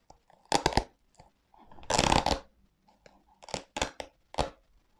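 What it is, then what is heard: Velcro straps on a leather sneaker. A black leather sneaker with velcro straps is held in one hand while fingers pull and rub the velcro straps and the leather upper. Short bursts of bright, crackling scraping and peeling sounds come in separate rasps, with one longer tearing rip in the middle and quiet pauses between them.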